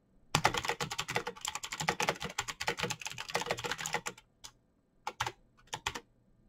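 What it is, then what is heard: Plastic mechanical keyboard. Fingertips type fast on a black plastic mechanical keyboard with clicky switches and backlit keycaps. Crisp, bright clicks run together in a rapid burst for about four seconds, then thin out into a few scattered keystrokes with short pauses. Each click is dry and dies away almost at once.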